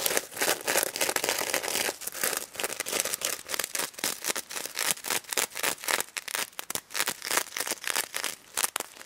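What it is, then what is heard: Sequin-covered plush toy scratched. Long nails scratch across the plastic sequins of a pink stuffed sequin pig toy, making fast, bright, crinkly scratching with uneven bursts and a few taps.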